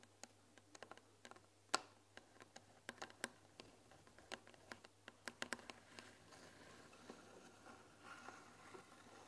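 Long nails tap the front panel of a closed, white-painted wooden tea box filled with tea bags, making quick, dry clicking taps. The clicks are sharp and bright with almost no ring, scattered over a low steady hum. Toward the end they blur into a denser, softer patter.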